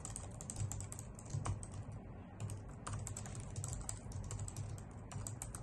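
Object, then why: Plastic computer keyboard. Long nails and fingertips type on a white full-size plastic keyboard with hollow key caps resting on a wooden desk. Rapid, uneven bright clicks and clacks from the keys run continuously over a steady low hum.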